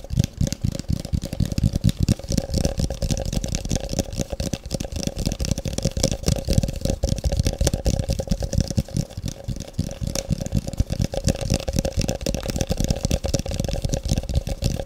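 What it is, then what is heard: Hollow empty plastic cup. A large, hollow, empty, translucent frosted plastic cup is turned in the hands and tapped rapidly with long fingernails. The taps form a dense, continuous clatter with a heavy low thud and a steady hollow tone near 550 Hz running throughout.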